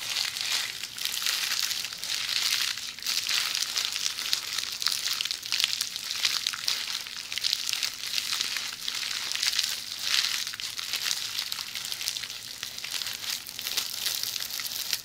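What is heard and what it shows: A hollow roll of red plastic bubble wrap is held in the hands, squeezed and scratched by long polished fingernails. The result is a steady, dense crinkling and crackling that is bright and high-pitched with almost no low end, swelling and easing slightly over the 15 seconds.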